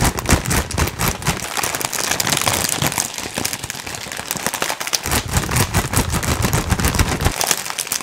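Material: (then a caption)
Foil-lined plastic. A metallic gold foil-lined plastic potato chip bag, apparently holding some contents, is held above the head in both hands and crumpled, squeezed and shaken with the fingers. It makes a dense, continuous stream of sharp, bright crinkling and crackling, with lower rustling thumps underneath from the shaking, for about eight seconds.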